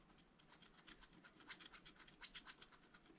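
A wooden stylus scratches lines into the coating of a black wax-coated scratch-art paper page in a spiral-bound pad lying flat on a table. Quiet, bright, dry scratching comes in a quick, uneven run of short strokes, roughly four per second, each with a papery rasp that stops at once with no ring.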